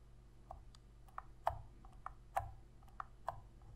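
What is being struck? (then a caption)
Plastic game controller. Long red fingernails tap and click the face buttons and sticks of a hollow black plastic Sony PS3 controller held in both hands. Eight short, dry plastic clicks sound at an uneven pace over a low background hum, each snapping off almost at once.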